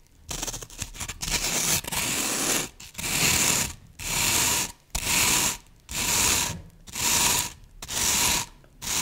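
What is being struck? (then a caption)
Green floral foam brick. Long nails scratch and dig quickly into the top surface of a solid green floral foam brick. A flurry of short, irregular scratches opens the clip, then six longer, bright, hissy scraping strokes follow, separated by brief pauses, with a crumbly, gritty texture throughout.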